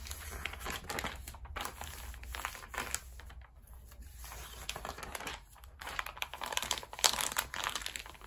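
A thick, open glossy paper magazine lying on a rubber mat has its pages riffled and turned by hand while palms press and rub along the spine to flatten it. The result is bright, crisp paper flutters, crinkles and rustles in uneven bursts, with brief quieter pauses over a faint steady low hum.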